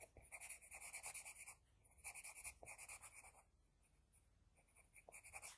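An HB pencil scratches across a flat sheet of drawing paper while drawing a second eye. Quick bursts of bright, hissy strokes come in rapid clusters, separated by quieter pauses where the pencil moves lightly or lifts off the paper.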